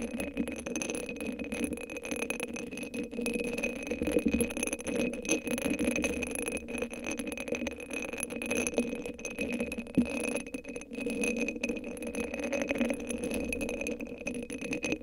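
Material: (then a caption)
Rhinestones. Long acrylic nails scratch and tap a hand-sized hollow cylinder sleeve covered in purple rhinestones that sits on top of a microphone. The result is a steady, dense stream of rattling, clicking scratches, with a midrange body around 480 Hz and bright glittery overtones. The level stays even throughout the clip.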